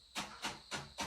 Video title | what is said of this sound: 打ち上げ花火の作成体験をしてきた～ | で、割役を叩くと こうちょっとジャリジャリした音がすると思ます。